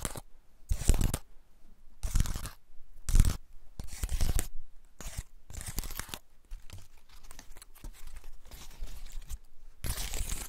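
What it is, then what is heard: Dry pine cone. A large, elongated, dry woody pine cone with open scales is held in the hands while fingertips and nails scratch and flick its scales. The result is bursts of dry, bright, crackling scratches that sound almost like tearing, separated by short quiet pauses.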